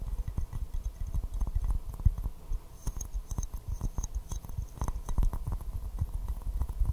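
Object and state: Porcelain teacup.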